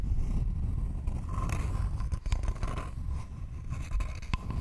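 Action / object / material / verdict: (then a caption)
scrape / thin wooden board / wood / none. A thin, flat, rectangular wooden board held in both hands is scratched with long nails, giving a dry, rasping scrape over a constant low rumble. Sharp, bright ticks cut through the scratching as the nails catch and drag across the wood.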